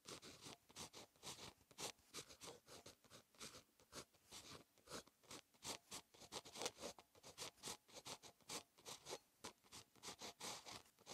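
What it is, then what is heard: Pen writing on a notebook page. A ballpoint pen tip (InkJoy 0.5), held in fingers, writes Korean script on a lined paper notebook page, a solid flat sheet on a bound notebook. A continuous, bright pen-on-paper scratch is heard as short, quick strokes repeat steadily through the clip, with almost no low end.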